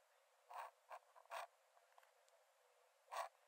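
A metal nib in a wooden dip-pen holder scratches thin lines onto the cream paper page of an open sketchbook lying flat on a dark desk while drawing. Short, dry, scratchy strokes come in separate bursts with a bright hiss, separated by faint quiet gaps and a few softer ticks.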